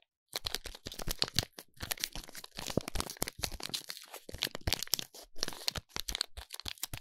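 Fingers squeeze, rub and crinkle the silver foil wrapper around a small, solid bar of soap. Dense, bright crackling and crinkling bursts come in quick succession after a brief silence, each crisp and dry with almost no ring.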